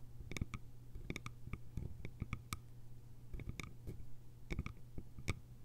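Long nails tap the lid rim of a small, round, hollow bamboo jar and scratch its sides. The result is a quick run of short, dry clicks with bright, brief ring, over a steady low hum.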